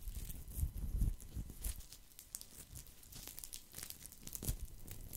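A thin, round, flat woven straw or rattan placemat is held in both hands close to the microphone while fingertips and nails scratch across its woven surface. The result is an irregular, dry crackling and crinkling texture with bright scratchy bursts over soft, low handling thumps.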